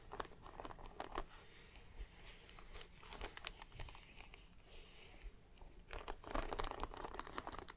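Fingertips and long black-painted nails tap and scratch across a panel of brass and silver dome studs on a large, soft grey suede handbag. The result is a dense run of quick, dry clicks and crinkly scratching with bright, crisp edges and no ringing. The sound grows busier around the first and third seconds and swells loudest near the end.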